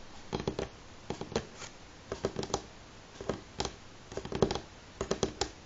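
Fingernails tap on a wooden table at varying speeds, in short clusters of quick clicks separated by brief pauses. Each tap is a crisp, dry tick with a faint woody knock around the low midrange and almost no ring.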